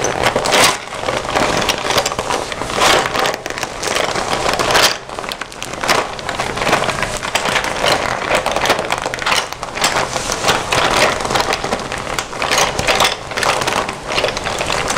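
A hand-sized red glossy vinyl/PVC Hello Kitty zippered pencil case, hollow and filled with pencils, is held in both hands while fingertips and painted nails scratch and tap its shiny outer surface. Dense, crackly scratching and crinkling fills the clip with frequent quick taps, bright and thin with little low end.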